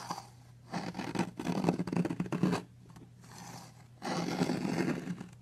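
A metal knife blade cuts into a long, solid blue soap bar and scrapes flakes off its carved edge. Two bursts of dense, crackly scraping are separated by a quieter stretch, over a faint steady low hum.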